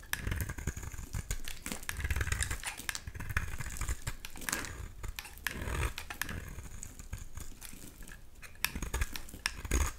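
A solid oval pink bar soap is held in the hand while a blade scrapes thick flakes off its edge. The result is a dense run of short, crisp scraping and crackling strokes with bright upper edges over a soft low rumble.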